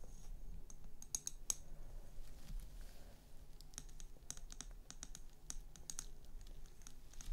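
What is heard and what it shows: Long nails tap and scratch the wall of a tall, hollow frosted glass cylinder standing on a chrome LED base. Sharp, bright clicks with a faint high ring die away almost instantly, scattered among softer scratching over a steady low rumble.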